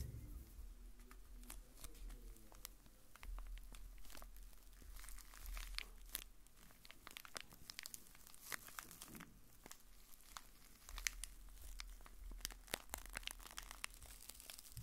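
A small, hollow, blue printed cardboard box is held in the hand and scratched and tapped with fingertips and nails. Dense, crisp scratching and crinkly rustling is punctuated by sharp, bright taps that stop instantly, over a soft low rumble.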